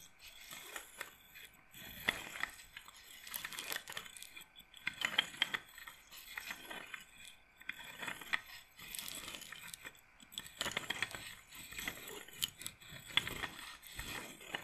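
Long nails scratch down the beads of a wooden bead roller massager held upright in its frame. The scratching gives bright, rattling clicks in repeated bursts, with almost no low end.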